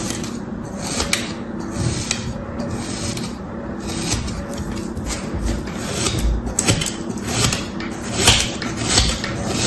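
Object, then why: Kinetic sand scraped by a thin metal tool. A thin metal tool held in the fingers repeatedly scrapes and slices through pressed kinetic sand shapes resting on a striped cloth. The result is a continuous gritty, rasping scrape with a low rumble underneath, punctuated by brighter, sharper crunches as the blade cuts through the sand.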